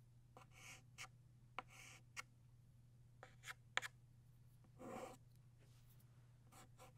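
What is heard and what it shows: A blue chalk stick scratches across a flat black chalkboard, drawing the body of a butterfly. Short, bright scraping strokes alternate with sharp taps and a longer rasping stroke, all over a low, steady hum.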